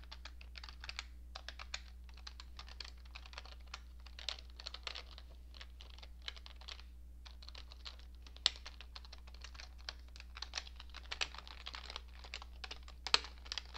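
A cream-coloured plastic computer keyboard with hollow keycaps is typed on, mostly with the right hand's fingertips and long nails, giving quiet, fast, irregular clicky key taps with a bright, crisp edge. The tapping runs throughout with brief pauses near 1.4 and 7 seconds and a few sharper, louder taps, over a steady low hum.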